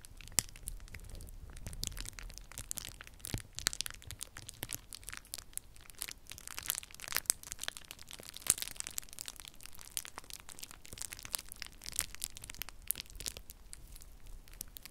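A small crumpled piece of clear plastic bubble wrap is held in one hand and squeezed and crumpled by the fingers, so the bubbles crinkle and pop. A steady, dense stream of bright crackling runs throughout, punctuated by sharp, very short pops that stand out above a soft, low rumble.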